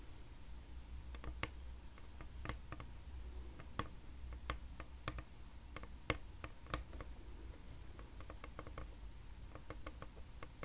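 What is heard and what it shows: Long red nails tap rapidly on a flat, solid, pale wood or wood-laminate tabletop. They make quiet, dry, short clicks in irregular bursts over a steady low hum.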